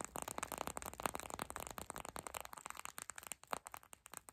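A small clear purple plastic eye mask filled with gel beads is held up, squeezed, and scratched with long pink acrylic nails and fingertips. The result is a dense run of quick, crinkly plastic taps and scratches with crackly rattling, mostly in the mids around 860 Hz with some bright edges. The bursts are rapid and tightly packed, thinning out toward the end.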